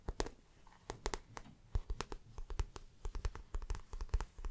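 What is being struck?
Patent vinyl handbag.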